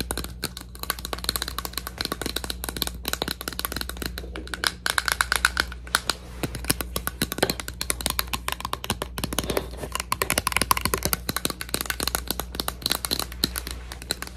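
A plastic bottle is tapped quickly and continuously with ASMR-style tapping for about 14 seconds. The taps are short, dry, bright clicks with a faint tone near 1 kHz, heard over a steady low hum.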